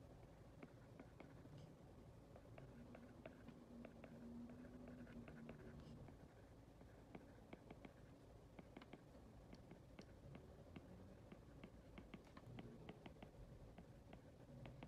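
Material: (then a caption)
Glass. A hard plastic Apple Pencil tip taps and strokes across an iPad glass touchscreen while writing, held by a hand with long red nails. Quiet, sharp ticks of the tip on the glass come in a steady, uneven stream over a soft low hum, with faint brushing between the taps.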